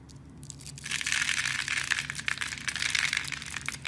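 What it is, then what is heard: Soap bar being carved. A knife blade scrapes small cubes off a solid, hand-sized blue soap bar with white stripes, scored in a fine grid and held in a hand with red nails. A quiet start builds after about a second into dense, bright, crisp crunching and crackling that stays busy to the end.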